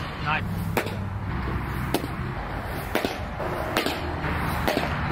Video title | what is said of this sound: Is This The Best Catcher's Mitt? | it sounds full it sounds awesome